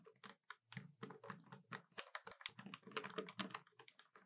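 Long nails from both hands rapidly tap the keys of a hollow black plastic desktop calculator. The result is a quiet, dense run of short, dry clicks, each with a bright edge over a low hollow knock that dies away almost instantly.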